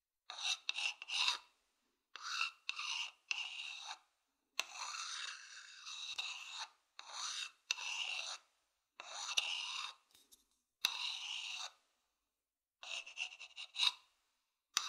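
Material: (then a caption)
Wood. A thin wooden stick scratches the outer surface of a hollow, empty wooden bowl held in the hand. Dry, raspy strokes come in short bursts and longer drags, separated by silent pauses. The sound is bright and thin, with almost no low end.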